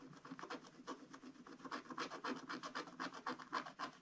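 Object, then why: Black-coated scratch-art paper scratched with a wooden stylus. A wooden stylus scratches over the sheep area of a black-coated scratch-art card page in a spiral-bound book. It makes quick, fairly regular rasping strokes, about four per second, with a dry scraping tone centred around 1 kHz and a short, bright edge.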